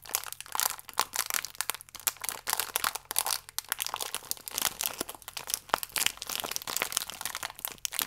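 A full, small plastic-film biscuit pack is squeezed and crinkled with the fingertips. The result is a dense, continuous stream of bright, crisp crackles and crunches with almost no low end. Each crackle cuts off instantly, with no ring.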